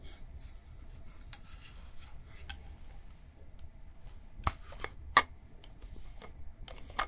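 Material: Plastic.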